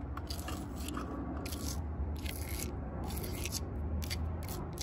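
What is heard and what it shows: Long purple nails and fingertips tap and scratch the rough, furrowed bark of a large, solid living tree trunk outdoors. Dry, crunchy scrapes and crackles come in bright, repeated bursts over a steady low rumble.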